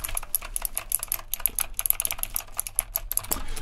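Fingertips of both hands type on a full-size backlit retro typewriter-style mechanical keyboard with round plastic keycaps and a metal-trimmed case. Rapid, crisp clicks follow each other unevenly, each short and bright with a very quick decay over a steady low hum.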